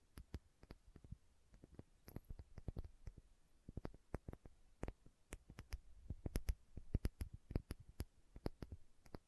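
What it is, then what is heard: Glass condiment bottle tapped with nails. Long nails tap and scratch the labeled body of a small, filled glass condiment bottle with a red plastic cap. A quick, uneven series of short, dull taps with faint bright clicks fills the clip, each dying away almost instantly over a quiet background.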